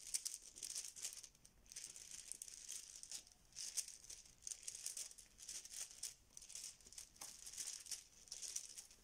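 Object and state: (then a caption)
Fabric pouch of plastic tiles rattling. A filled yellow fabric Bananagrams banana pouch is squeezed and rolled between fingers, making the plastic tiles inside rattle. The result is a quiet, bright clicking and crinkling in irregular bursts, almost entirely high-pitched with very little low end.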